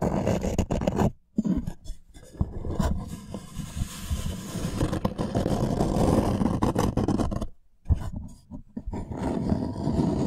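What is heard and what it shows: A thin, flat, solid light-wood plank is held upright in both hands and its surface is scratched with fingertips and nails. The result is a dense, continuous rough scraping with a heavy low-end rumble, broken by brief quiet pauses near the start and toward the end.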